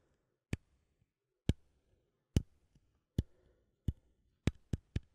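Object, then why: Small metal coffee tin lid. A fingernail taps and clicks on the lid of a small cylindrical metal coffee tin, with the lid facing forward. Eight sharp, brief clicks ring out at uneven intervals, the last three coming in quicker succession, each bright at its attack over a faint low murmur. Each click dies away almost instantly.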